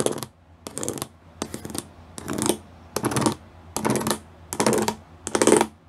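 Fingertips and nails tap and scratch close up on a flat grey plastic sheet covered in rows of small square pyramid studs. Eight separate bursts of dry, crackly scratching come at a steady pace, each bright and rattling and ending quickly with a short decay.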